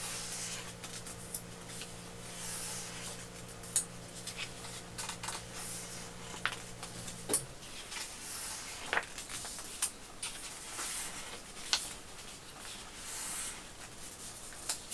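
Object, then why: Hardcover paper book. Fingertips brush and turn the pages of a large illustrated hardcover edition of The Hobbit lying open on pink fabric. Soft, bright paper rubbing and flipping fills the clip, with sharp page flicks scattered throughout. A steady low hum underneath stops about halfway through.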